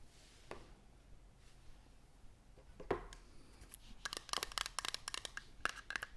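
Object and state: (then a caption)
Empty plastic bottle. An empty plastic nail polish remover bottle is tapped, with a few faint scattered taps early on, then a cluster of quick, bright, clicky taps over the last two seconds. The taps have a short, hollow plastic ring that dies away almost at once.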